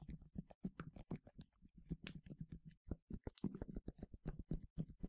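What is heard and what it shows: A medium yellow plastic sunscreen spray bottle with a translucent cap, hollow and partly filled, is tapped and scratched with fingernails. Quick, irregular hollow taps with a low body around 200 Hz mix with faint scratchy clicks. Each tap dies out almost at once.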